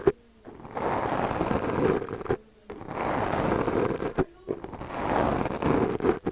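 The bristles of a small purple plastic brush are stroked across the top of a black foam windscreen on a microphone held in the other hand. The result is a dense, crackly scratching concentrated in the low-mid range. It comes in three long passes separated by brief quiet gaps marked by sharp ticks.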